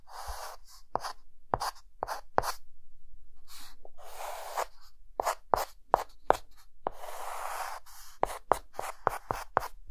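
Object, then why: Chalk stick on a chalkboard. A hand adds cross-hatching with a white chalk stick on a dark green chalkboard. Quick, sharp chalk taps and strokes alternate with longer raspy scratching sweeps, with a bright gritty texture and a faint squeak.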